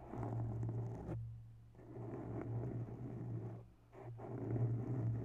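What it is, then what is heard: Foam microphone windscreen being scratched. Long bare nails scratch both sides of a grey foam microphone windscreen in close-up, making a soft, slow, muffled rustling scrape over a steady low hum. The scratching comes in bursts separated by brief quieter pauses.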